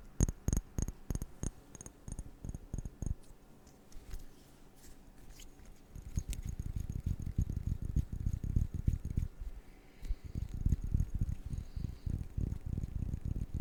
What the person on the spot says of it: 07:12 Tapping sur du VERRE